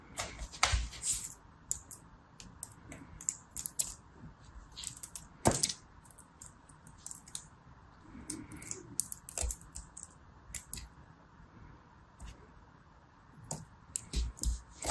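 A hand-sized lump of yellow, red and purple kinetic sand, solid and soft, rests on a blue mat while both hands squeeze, crumble and break it apart with fingertips and painted nails. Crisp, bright crunching clicks and gritty rubbing come in irregular bursts over a low rumble, with short crumbly breaks.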